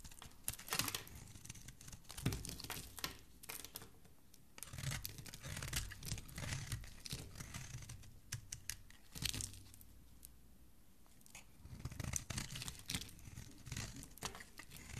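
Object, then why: Bar of soap. A metal blade carves and shaves thin curls off the surface of a solid green, palm-sized soap bar held in the fingers. Dense, dry scraping and crackling comes in bright, broadband bursts over a soft low thudding, easing off briefly around 4.5 and 10–11 seconds before picking up again.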